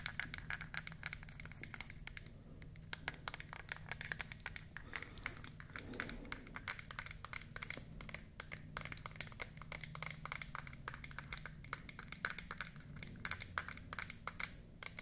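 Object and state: Wooden toy palette, solid block.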